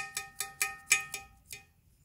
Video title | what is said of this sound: 👍집에서 만든 옹기토 수제화분 초벌구이한 색감이 자연그대로 넘 예쁜데요 | 벌써 소리도 틀려요. 구운 거는.